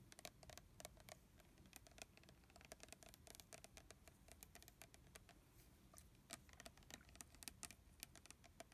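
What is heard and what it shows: Fingertips and fingernails tap along the body of a red plastic body mist bottle holding liquid, held horizontally. The result is a quiet, steady run of quick, bright, clicky taps over a soft low rumble.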